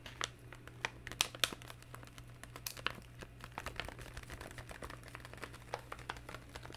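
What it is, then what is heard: Plastic game controller buttons. A hollow, hand-sized black plastic handheld game controller is held in both hands while fingertips press and tap its buttons. The result is a steady run of short, dry, bright clicks, like keyboard typing, with a few louder taps and a faint constant low hum underneath.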